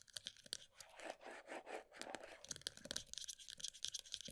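A pale green plastic body butter tub with a black lid is held in both hands while long nails rapidly tap and scratch its side and the lid rim. Quick, bright clicks alternate with a stretch of softer, continuous scratchy rasping, all thin and high with almost no low end.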